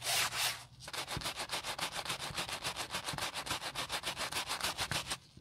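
A wooden-handled bristle brush, held in gloved hands, scrubs the soapy bottom panel and strap edge of a beige nylon Prada handbag. Two longer bright, hissy rubs open the clip, then about 27 quick, steady back-and-forth strokes follow at roughly three to four per second. Each stroke is a crisp, high scratching swish.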